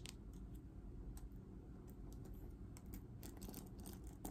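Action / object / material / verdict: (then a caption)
tap / plastic paddle hairbrush / plastic / none. Long dark nails tap and scratch the dense bristles and hollow plastic back of a green patterned plastic paddle hairbrush held in hand. Quiet, sharp clicking taps and brief scratchy bursts are heard over a steady low rumble.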